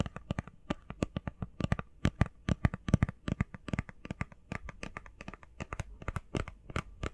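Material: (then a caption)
Cardboard. Long painted fingernails tap fast on a small, hollow, rectangular printed cardboard face mask box, blue and covered in text. The result is a rapid, uneven stream of short, dry taps with a soft hollow low thump and bright clicky edges that stop instantly without ringing.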